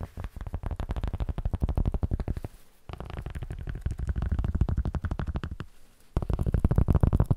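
Cork is tapped in quick, steady runs, making dull, low thuds with almost no ring. The taps come in three bursts separated by short pauses, and the last burst is the loudest.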